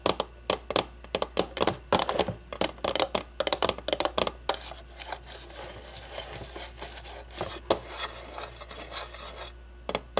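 Long blue-painted nails tap quickly and sharply on the sides and top of a small, hollow, clear acrylic display cube holding a baseball, making crisp, bright clicks. After about four seconds the nails switch to a steady, raspy scratching across the plastic, broken by a few more sharp taps.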